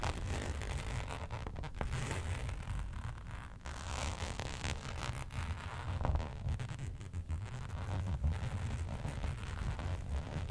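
Long pointed nails scratch and tap across a flat black embossed faux leather sheet lying on a fur rug. The result is a steady, dense scratching and rustling texture over a deep low rumble, with occasional louder taps and scrapes standing out.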